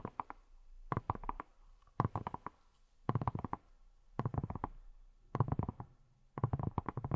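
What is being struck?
Silicone scrub brush.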